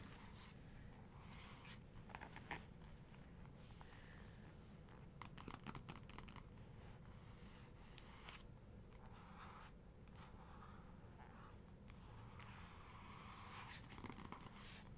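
Long fingernails from both hands trace and tap across the same glossy colour photo page of an open hardcover photography book. Soft, dry scratching strokes mix with light, brief taps over a steady low background rumble, and the whole clip stays quiet.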